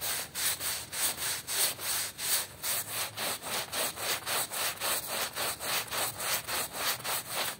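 A small patterned woven rug, wet and soapy, is scrubbed with a small hand brush held in a yellow rubber-gloved hand while the other hand holds the rug flat. Quick back-and-forth strokes make a steady, rhythmic bright scratching hiss at about three to four strokes per second, with almost no low end.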